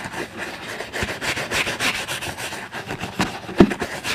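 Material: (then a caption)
Leather. A wooden-backed bristle brush scrubs the toe and vamp of a brown leather boot worn on a foot, while the other hand steadies the boot. Quick, repeated brushing strokes make a dry, bright, scratchy rubbing sound, broken by a few sharper, deeper thumps.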